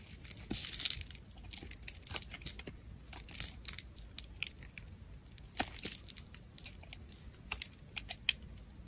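A black utility blade shaves curls off a solid pale soap bar held in the fingers. It makes a quiet, rapid run of short, crisp scraping and crackling cuts, mostly high and bright, with a few sharper snaps standing out.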